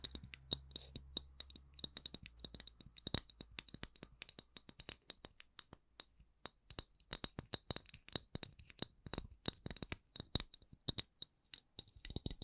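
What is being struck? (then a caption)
Wooden candle lid. The wooden lid of a candle is tapped and scratched with fingers in a quick, uneven run of short, dry clicks with a bright, high ring. Soft scratching fills the gaps, and a faint low hum fades out after the first couple of seconds.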